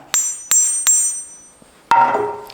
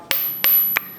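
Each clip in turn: First: partly forge-welded anvil with decent ring. Second: high-pitched ringing anvil.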